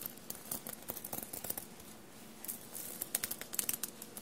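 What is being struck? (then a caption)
Knit fabric shirt covered in small metal paillettes. Long blue-painted nails tap and scratch across a dark navy knit fabric shirt covered in small silver metallic paillettes and studs, lying soft and bunched on a table. Quiet, bright, dry clicks and ticks rattle off the metal studs with no ring, broken by scratchy rustling strokes. The taps grow sharper and denser toward the end.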